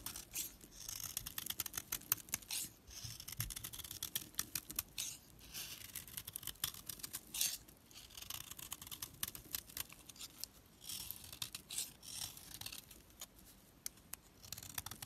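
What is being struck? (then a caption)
Bar of soap scraped with a knife. A knife blade scrapes and crumbles a solid, opaque pink household soap bar held in the hand. The result is quiet, dense, bright scratchy rasps and crumbly crackles in uneven bursts, with very little low end.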